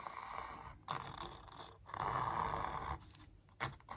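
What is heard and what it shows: A thin wooden stick traces and scrapes along the lines of a large printed canvas stretched on a hollow-backed wooden frame. Long, rasping scratchy strokes with a mid-range hiss are followed by shorter, quicker scrapes. The sound stops and restarts as the stick moves between lines.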